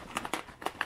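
A plastic bottle of Mod Podge glue thinned with water, holding a large metal nut from a nut and bolt, is shaken. The nut knocks around inside in five quick, short rattling clicks. This stirs up the glue that has settled at the bottom.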